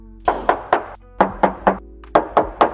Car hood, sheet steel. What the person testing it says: bunyinya masih nyaring banget kan, masih kaleng